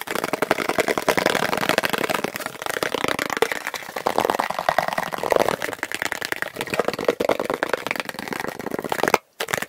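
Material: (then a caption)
Plastic. A plastic object is tapped rapidly and continuously, sped up to double speed, giving a dense stream of sharp, dry clicks with a mid-range tone and little low end. The tapping runs almost unbroken, with a brief moment of silence near the end.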